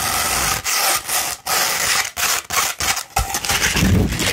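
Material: Sandpaper.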